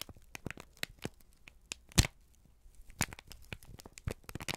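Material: Paper.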